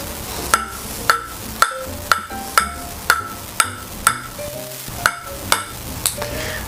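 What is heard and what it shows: A table tennis ball is bounced repeatedly on a Harimoto Innerforce Super ALC blade, made of five wood plies with two inner ALC carbon layers, for a bounce test. About a dozen short, crisp clicks pitched around 1.3 kHz each die away almost instantly over faint background music. The blade sounds duller than outer-carbon ALC blades because its carbon sits further inside.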